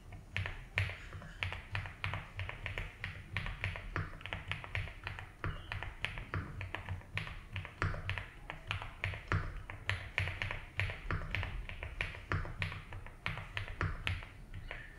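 Fingertips type slowly on a 75% mechanical keyboard with ABS keycaps in a light blue plastic case. Each key tap makes a short, dry click that dies out almost at once, centered around 1.8 kHz with bright edges. The clicks come in a steady, unhurried rhythm over a constant low rumble and a faint high hum.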